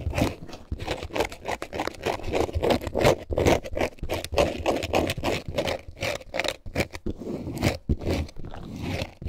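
A multicolor snakeskin-print faux leather bag, held in both hands, is scratched rapidly with long nails and squeezed. The result is an irregular stream of dry scraping strokes mixed with crinkling for about nine seconds.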